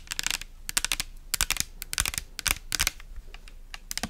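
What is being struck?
Plastic pump bottle filled with liquid.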